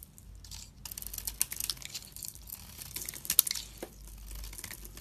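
A utility knife blade held in the hand scrapes and carves a solid soap bar with a dark speckled coating and a pink core. The result is a quiet run of dry, bright, crackly scraping strokes with sharp crisp flicks, followed by a soft low hiss at the end.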